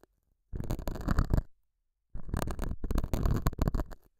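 A metal dental scaler hook scratches the surface of a small square beige felt pad on a lapel mic. Two bursts of dense, rough, rumbling scratching are heard, the first about a second long and the second about two seconds, with a deep, muffled low end and little brightness.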